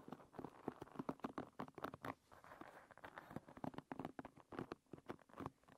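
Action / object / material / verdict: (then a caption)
tap / wooden pin bristles of a hairbrush / wood / none. Long nails pat and scratch over the tips of a hairbrush's wooden pin bristles, making a fast, dense patter of short, dry clicks and brief scratches with a low woody tone. The taps come in quick irregular bursts with short gaps and no ring after each hit.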